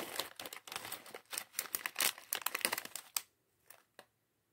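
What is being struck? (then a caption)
Clear plastic bag holding small plastic bricks. A small clear plastic bag filled with LEGO plastic bricks from the LEGO Mindstorms mini bot set 40413 is held in both hands while fingertips crinkle and shake it. Dense, bright crinkling and rattling bursts run for about three seconds, then thin out to a few short, sharp crackles before falling silent.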